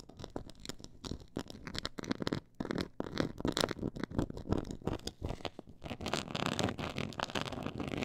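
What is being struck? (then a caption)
Quilted faux leather board. Long acrylic nails scratch the textured surface of a black quilted faux-leather board lying flat on a pink fur rug. Dense, rapid scratching and scraping strokes crackle close to the mic, with a low rumbling body and a brighter, hissier texture in the last couple of seconds.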